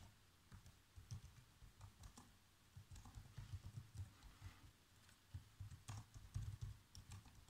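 Fingertips type quickly on the black plastic keys of a laptop keyboard, making a steady run of soft, muffled taps with a low thump and brief bright clicks. Each tap dies away almost at once, and the sound is quiet throughout.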